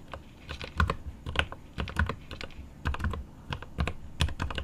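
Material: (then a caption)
Plastic. A 75% mechanical keyboard with plastic keycaps on an aluminum case is typed on with the fingertips of both hands. The rapid key taps come as short, clustered clicks, each with a deep low thock and a brief bright click that dies away almost at once.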